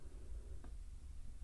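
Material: Nothing is struck.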